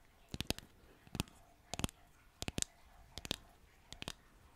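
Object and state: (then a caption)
Painted wooden sign tapped with nails. Long nails tap and click on the surface of a flat, solid, green-painted wooden bottle-shaped decor sign labeled "spider legs," about hand-to-forearm size. Six short clusters of two or three dry, bright clicks with a low knock come at an uneven pace, each dying away almost instantly over a quiet background.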